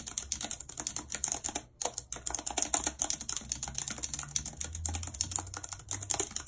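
Very long red acrylic nails and fingertips type continuously and fast on the hollow keys of a full-size white and silver plastic computer keyboard with a numeric keypad, lying on a map. A dense stream of bright, crisp plastic clicks and taps with very short decay is heard, with a brief pause near the two-second mark before the rapid typing resumes.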